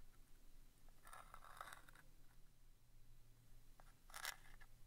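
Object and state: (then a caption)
Cardboard thumbtack box. A wooden stick tip scratches and taps across the front face of a small vintage printed cardboard box of Rodi brass-plated thumbtacks, held in one hand and hollow, presumably full of tacks. Dry, bright scratches and short crisp taps come in bursts, with a louder scraping stroke near the end over a faint low hum.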